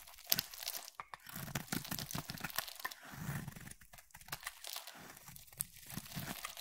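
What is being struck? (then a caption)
Bar of soap cut with a knife blade. A utility knife blade carves shavings from a hand-sized, oval, solid purple bar of soap with a ridged surface. The result is a quiet run of dry, crumbly scraping and crunching strokes, bright and crinkly on top with a soft low thud under some cuts. Each stroke stops short, with brief gaps between them.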